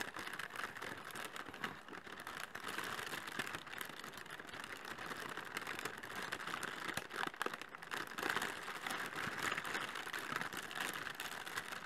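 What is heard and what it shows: Inflated clear polyethylene air pillows, the hollow air-filled packing material, are held over a cardboard box and tapped and scratched with long fingernails and fingertips. The result is a steady, quiet stream of dense crinkly taps and scratches with short, dry decays, centered around 1.5 kHz with little low end.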